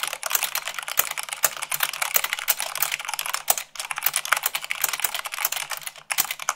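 Long acrylic fingernails type fast, at about 98 words per minute, on a full-size mechanical keyboard with white plastic keycaps on a black base. A dense stream of sharp, bright plastic clicks and taps runs throughout, with almost no low end and brief pauses near 3.7 and 6.1 seconds.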